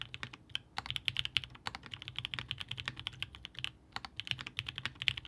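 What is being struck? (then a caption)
Mechanical keyboard, aluminium case, plastic keycaps. A Haus 65% mechanical keyboard by Hand Engineering (Gummy Worm) with a blue-grey aluminum case, polycarbonate plate, linear 8008 Inks switches and GMK DMG ABS keycaps sits on a desk mat while both hands type steadily with their fingertips, bottoming out the keys. The result is a fast, continuous stream of short, crisp, bright clacks with almost no low end or ring, and a few brief pauses between bursts.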